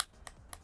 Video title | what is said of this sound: TECNO Spark 7 Pro review: It's super affordable, but ... | The rear panel is made of polycarbonate plastic. If you tap it right there, you can hear it.